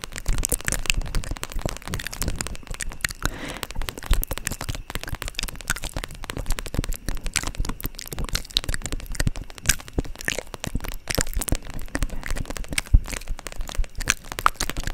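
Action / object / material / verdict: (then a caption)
tap / vinyl plastic zip pouch / vinyl plastic / none. Long pointed nails tap and scratch the shiny plastic surface of a holographic vinyl zip pouch makeup bag held upright beside the mic. The result is a dense, steady stream of sharp crackling clicks and crinkly scratches with a low, thumpy body and bright, brittle edges.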